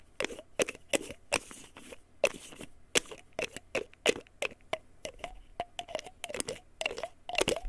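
A small white plastic pill bottle with a printed paper label is held sideways while fingertips and nails tap and scratch its label and cap. The result is a rapid, irregular series of crisp, bright clicks and scratchy crackles with a hollow plastic tone, each dying away almost instantly over a quiet background.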